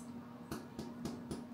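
Five taps on the bottom of a cooled, very crusty loaf of homemade white bread, each a short, hollow knock with a low tone around 240 Hz over a quiet background. The hollow sound shows the loaf is baked through.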